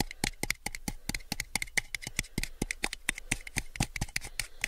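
Fingertips and nails tap and grip around the body and rim of a small, clear, rigid plastic cup that is hollow, empty and held on its side. About 29 quick, dry clicks and taps follow in an uneven rhythm, each with a short hollow ping near 2 kHz and a bright edge, dying away almost at once.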